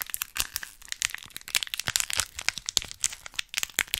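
A miniature printed plastic foil snack bag, held up close to a microphone, is crinkled and squeezed with fingertips and long nails. The result is a rapid, continuous stream of sharp, bright crinkles and crackles with almost no low end.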